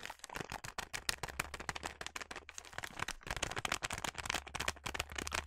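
Fingers with long nails crinkle and scratch a filled yellow plastic snack bag of sliced almonds. The result is a dense run of rapid, bright, crackling crinkles and scratches, each dying away almost instantly, over a faint steady low hum.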